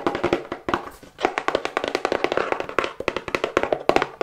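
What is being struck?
Cardboard box.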